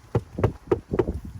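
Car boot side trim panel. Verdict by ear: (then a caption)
Hollow. Five light taps on the fabric or fiberglass boot side trim panel of an Audi S3 8V FL give short, dull, low knocks that sound hollow and die away almost at once. The hollowness comes from a gap between the panel and the bare car body behind it, which is suspected of causing a knocking over bumps.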